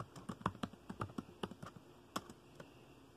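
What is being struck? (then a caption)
Plastic laptop keyboard. Fingertips tap the keys of a dark plastic laptop keyboard at a slower pace, giving about 12 short, dry clicks in an uneven rhythm. Each tap has a soft low thump with a brief bright click and almost no ring.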